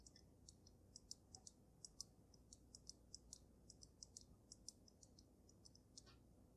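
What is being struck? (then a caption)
Water-filled glass snow globe. Fingertips with gray-painted nails tap on the glass dome of a water-filled snow globe holding a dragon figure and glitter, set on a dark dragon-claw base. The sound is a quick, uneven series of light, bright clicks and ticks with very short ring over a soft low hiss.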